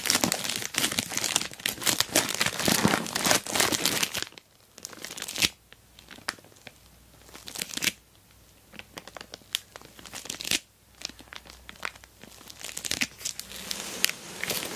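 An orange glossy plastic mailer bag wrapped around a rectangular box is squeezed at the sides by hands while nails scratch and press the plastic. The result is bright, dense crinkling and crackling for the first four seconds. After that come quieter stretches broken by sharp scratches and short crinkle bursts.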